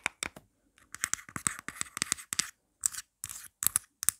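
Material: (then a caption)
Plastic. Long nails tap and scratch quickly on the pop grip of a marble-print plastic phone case, which is then turned over to show its plain inside. The sound is a fast run of dry, bright clicks and scratchy bursts, with short silent gaps and almost no ring or low end.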